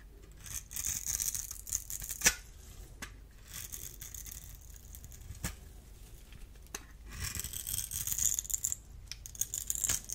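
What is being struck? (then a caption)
Bar of soap. A solid, dry, oval blue bar of soap held in the hand has its surface scraped and cut with a small metal blade. The result is a bright, crisp scratching and crumbling sound in bursts, with a few sharper clicks cutting through.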